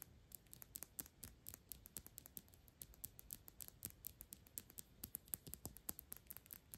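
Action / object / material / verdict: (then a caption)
tap / small thick glass perfume bottle / glass / none. Long pink acrylic nails tap and scratch fast on a small Byredo perfume bottle made of thick clear glass, partly full of liquid and held in the hand. The result is a quiet stream of sharp, high clicks with bright glassy tings, scraping between taps and almost no ring after each hit.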